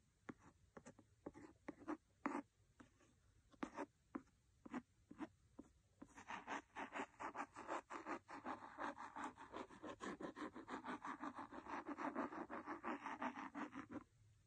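A wooden pencil scratches and rubs the cover of a large, solid red cloth-covered hardcover book resting on a fluffy rug. Short, spaced-out scratches for the first six seconds give way to dense, rapid scratching and rubbing that continues until near the end. The sound is quiet and dry, sitting mostly in the mid range, with a faint bright hiss.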